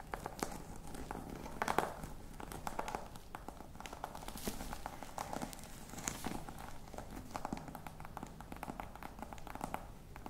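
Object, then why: Embossed faux leather box. Long nails tap and scratch the textured side of a hollow, black croc-embossed faux leather box with studs. Quick, dry clicks fall in dense, uneven runs with a steady scratchy rasp and a faint hollow knock underneath. Each tap dies almost at once, with no ring.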